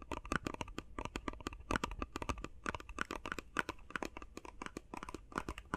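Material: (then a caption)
Cardboard, plastic. Fast tapping on a face mask box made of plastic and cardboard produces a rapid, uneven stream of short, dry clicks. Each tap is crisp with a faint hollow tone and a soft low thump, and it stops almost instantly with no ringing.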